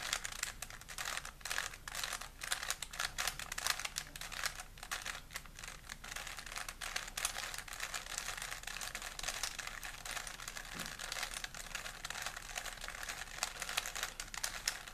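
A small solid plastic 3x3 Rubik's cube is held in both hands while fingertips twist its layers. The turns give a rapid, dense run of bright plastic clicks and rattles that keep going steadily for the whole clip.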